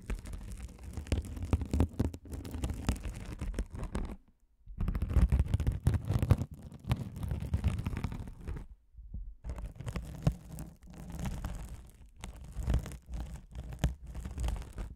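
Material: Mesh foam.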